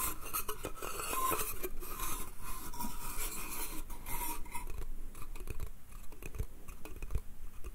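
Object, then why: Small pine slatted crate. Fingernails scratch the slats of a small, hollow, empty pine slatted bath crate held in one hand. The result is a dense, dry, rasping scratch with quick clicking taps and no ring. It is brighter and hissier in the first half and duller and lower in the second.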